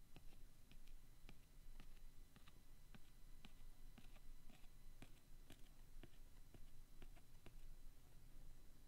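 A pointed wooden stick traces and scratches the textured, leather-grain cardstock cover of a vintage Weekly Time Sheets booklet. Soft, dry scratching is broken by scattered short, sharp clicks with bright edges, over a faint, steady low rumble. The sound stays quiet and close throughout.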